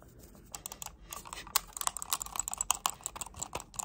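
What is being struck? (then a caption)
Plastic computer mouse. Long nails click and tap on a hollow black plastic wireless computer mouse, making a rapid, uneven run of short, dry, bright clicks. Each tick dies away almost instantly, with little low-end body.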